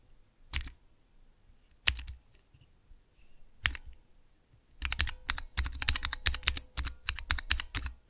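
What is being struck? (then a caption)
Plastic mechanical keyboard switch tester. Fingertips press and tap the clear plastic keycaps on a small hollow plastic mechanical keyboard switch tester fitted with Cherry MX switches. Three separate crisp clicks come first, each with a bright snap and a low hollow thump, followed by a quick, steady run of tapping keystrokes. Each click is short and dry with almost no ring.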